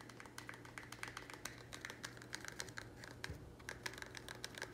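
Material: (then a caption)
Plastic. A small, thin, square black plastic nursery pot, apparently empty and hollow, is lifted and held in the hands while fingernails tap and scratch it fast. It gives a rapid stream of crisp, clicky plastic taps with a hollow tone around 1.7 kHz and bright scratchy edges. Each tap dies almost instantly over a faint steady low hum.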